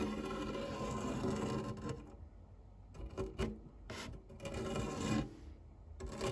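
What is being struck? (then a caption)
Metal fluted tart tin. A white silicone spatula scrapes and rubs across the flat base of a round, dark non-stick metal tart tin with a fluted rim, empty except for cake crumbs. Steady raspy scraping with a low hum gives way to quieter pauses, then short bright scraping strokes and bursts of rubbing.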